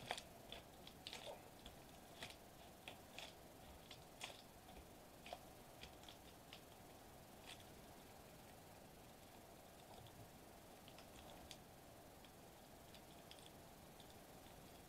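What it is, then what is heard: Foil bubble wrap sheet. Fingertips gently tap and press a flat silver metallized plastic foil bubble wrap sheet resting on a white table. The result is a quiet series of short, dry, crinkly ticks and soft crackles with bright edges, denser and louder in the first half and thinning out later. A faint steady midrange tone runs underneath throughout.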